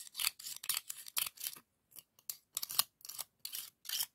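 A white scallop shell held in the fingers is rubbed and scraped over the ribs of a hollow, pink ribbed scallop shell. The result is a series of short, dry, bright raspy scrapes with brief pauses between them and no ringing afterward.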